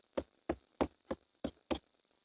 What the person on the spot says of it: There's no kind of ping sound involved at all